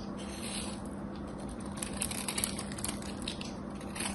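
A craft knife shaves the sides of a solid, gold-coated soap bar with a gold embossed face, giving a steady, soft crunchy scraping with fine crackles. Brighter, crisper flecks rise over the middle of the clip against a faint low hum.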